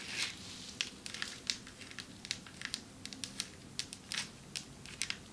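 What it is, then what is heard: Marble table top tapped with nails. Long metallic nails tap on a marble table top, producing a quick series of sharp, crisp clicks that are bright and high with almost no low end. Each tap dies away almost instantly, some landing as small clustered bursts over a faint steady hiss.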